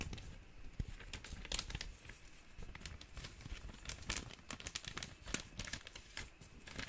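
An empty, thin, clear plastic zip-top bag is crinkled and folded with the fingers. It makes a steady stream of quiet, dry crackles with bright, sharp snaps scattered throughout, over a soft rustling bed. Each crackle dies away almost instantly.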